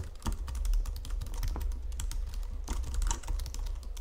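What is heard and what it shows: Fingertips with long nails type steadily on a white plastic Logitech full-size keyboard under red lighting. A rapid stream of short, bright clicks and clacks sits over a constant low hum, with the keystrokes dying away almost instantly.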